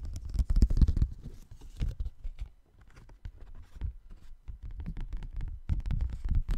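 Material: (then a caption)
Paper. A folded paper Christmas card is opened and held in both hands while fingers rub and flex the paper. It makes a dense run of soft, scratchy rustles and crinkles, heaviest at the start and end, with a quieter stretch in the middle. The sound is low and muffled, with only faint brightness.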